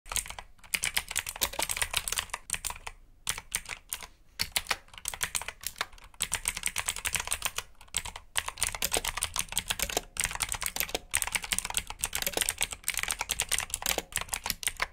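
Fingertips type rapidly on a black full-size mechanical keyboard with blue switches, plastic keycaps, an RGB backlight and a hollow plastic case. The result is a dense stream of sharp, bright, clicky keystrokes with almost no ring, broken by a few brief pauses.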